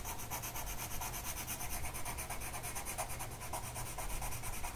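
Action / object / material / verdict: scrape / colored pencil on a paper sheet / paper / none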